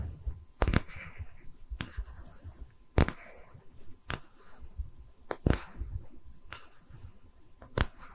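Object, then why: Wooden tree-slice slab. A small, round, solid wooden tree-slice stand with visible rings is held in both hands and tapped with long red nails, giving eight sharp, dry clicks with almost no ring. The taps are spaced across a quiet, low background rumble.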